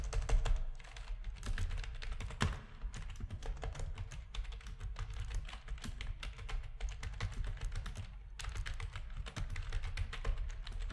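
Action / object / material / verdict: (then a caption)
tap / plastic computer keyboard / plastic / none. A full-size black plastic backlit RGB gaming keyboard with a hollow housing is typed on rapidly with the fingertips of both hands. A dense, continuous stream of short key clicks sounds over a deep, hollow thump, with brief bright edges on the sharper presses that die away almost instantly.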